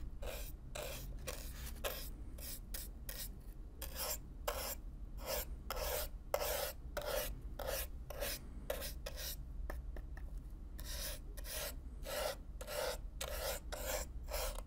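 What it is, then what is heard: Corrugated cardboard box brushed. A stiff black-bristle brush is stroked back and forth, close up, across the surface of a hollow brown corrugated cardboard box. Quick, bright, scratchy rasps repeat at an uneven pace over a steady low rumble.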